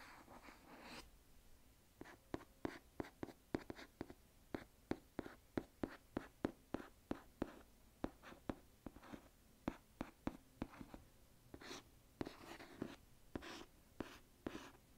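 Fingernails scratch and tap on the cover of a solid illustrated hardcover book, "A Book That Takes Its Time," held upright. Brief scratching bursts open and close the clip around a steady run of about 34 crisp, dry taps. Each tap dies away almost instantly with no ring.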